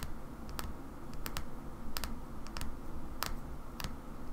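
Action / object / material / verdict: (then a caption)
tap / small glass oil bottle / glass / none. Long fingernails tap the side and shoulder of a small cobalt-blue glass oil bottle held in one hand. Slow, irregular, sharp clicky taps carry a brief, bright glassy ping around 1.3 kHz that fades quickly. A steady low rumble runs underneath throughout.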